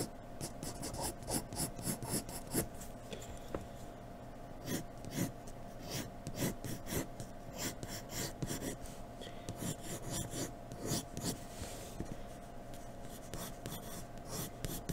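A graphite pencil shades hair on a sheet of white drawing paper in rapid strokes, giving a rasping, scratchy rub. The quick strokes come in short bright bursts over a faint steady low hum.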